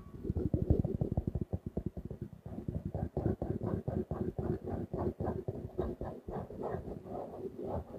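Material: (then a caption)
Faux leather. A small closed notebook with a grey-blue faux leather cover and stitched edges, held upright, is tapped and scratched with fingertips and nails. Quick, soft, low thuds come first in a fast run, then slower taps mixed with brighter scratchy strokes, all dull and short with almost no ring.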